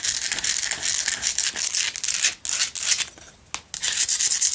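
Long acrylic nail tips scratch across the uneven surface of a small, lit Himalayan rock-salt lamp, a solid rough crystal chunk held and tilted in the hands. The sound is a dense, bright, gritty scraping with almost no low end. It comes in quick strokes, with short pauses and a quieter stretch just past the three-second mark before the scratching resumes.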